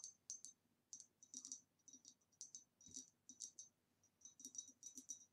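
Long nails tap the sides of the neck and the rim of a hollow, empty, green ribbed glass vase standing upright. The result is a quiet series of quick, bright glassy clicks in irregular bursts, each dying away almost instantly with a high ring.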